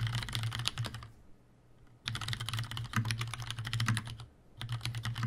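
Fingertips of both hands type on a tenkeyless Leopold FC750R mechanical keyboard with Cherry brown switches, a plastic case and keycaps, and a hollow housing. Bursts of quick, bright key clacks over a low hollow thud are split by two brief pauses. The presses come in rapid clusters with no ring after each keystroke.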